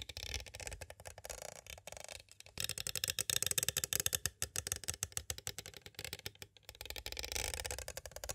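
Two green twisted wire-like tools trace and tap on both sides of a clear hard plastic cassette tape case with a paper insert, held upright. It makes a dense run of quick, dry, bright clicks and scratchy rattles with almost no ring, briefly dropping quiet around the two-and-a-half and six-and-a-half second marks before resuming.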